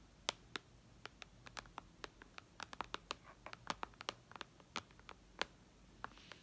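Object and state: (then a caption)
Glass tablet screen tapped with nails. Long red nails tap and scratch across the glass screen of a white iPad lying flat. About two dozen sharp, bright clicks come in an irregular, quick pattern, each dying away almost instantly, with faint scratchy scrapes between them over a low, quiet background.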